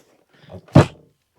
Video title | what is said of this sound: Great sales on eBay this week... and one BIG return! | did you hear the thump it's pretty heavy